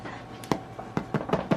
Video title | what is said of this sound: WE HAVE SOME EXCITING NEWS!!! / SPEND THE DAY WITH US / CHANNON ROSE VLOGS | if you tap on it and it's hollow like that that means it's ready